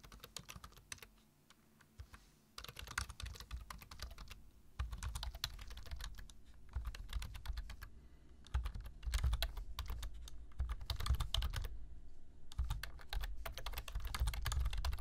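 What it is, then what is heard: Plastic computer keyboard being typed on. Fingertips type quickly on a black plastic computer keyboard, producing rapid, uneven bursts of sharp key taps over a deep, thumpy low end. The typing stops briefly near the start and at a few other points, then picks up again and grows louder toward the end.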